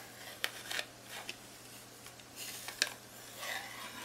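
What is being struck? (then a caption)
Plastic calculator keys and casing. Long nails tap and rub the plastic keys and casing of a handheld black plastic graphing calculator with a screen and arrow keys. Quiet, bright, dry clicks stand out sharply, with soft scratchy rubbing between them and no ring after each tap.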